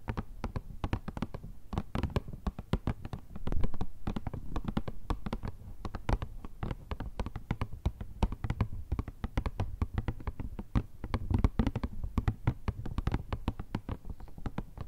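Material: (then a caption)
Cardboard. A rectangular printed cardboard Kleenex tissue box, hollow with tissues inside, is tapped rapidly and continuously with long red nails and fingertips. The result is a dense run of short, dry taps with a soft, low hollow thump under sharp nail clicks, each dying away almost at once.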